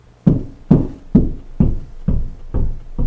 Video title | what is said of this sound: Installing Closet Shelves Wire Learn How to Install Closet Shelving | how deep it is right here so that means it's no stud right there